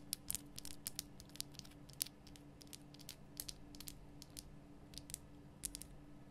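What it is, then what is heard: Himalayan rock salt lamp. Long nails tap and scratch the front surface of a large, lit, pink Himalayan rock salt lamp made of solid, rough salt. Quiet, sharp, bright clicks and short scrapes come in an irregular run over a steady low hum, each dying away almost instantly.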